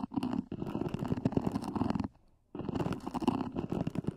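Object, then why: EVA hard-shell earphone case. Long nails scratch the lid of a small black zippered EVA hard-shell earphone case near its edges. The hollow case gives a dense, rapid, hollow-sounding scratch with a low-mid body and some bright edge. The sound stops briefly about halfway through, then resumes.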